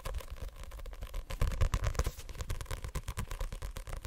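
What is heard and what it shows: A hand-held white Assassination Classroom paperback with a card cover, held solid, is tapped rapidly on its cover with fingertips and nails. The result is a fast, continuous run of short, dull, low-pitched taps that die away almost instantly, with faint brighter clicks from the nails.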